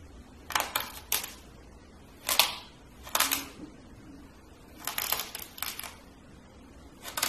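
A small, solid blue kinetic sand castle molding, held with fingertips, is crushed and scooped with a metal spoon. It gives short, bright crunching and scraping bursts separated by near-silent pauses.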